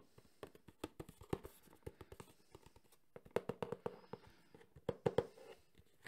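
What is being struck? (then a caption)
Small cardboard box. A small, hollow, printed cardboard box for a Sony HDR-CX405 camcorder is held in one hand and tapped fast with the fingertips and nails of the other hand. About two dozen quick, dry, hollow taps with a low-mid tone near 465 Hz die away almost instantly. The taps come in two quiet bursts separated by a brief pause around the three-second mark.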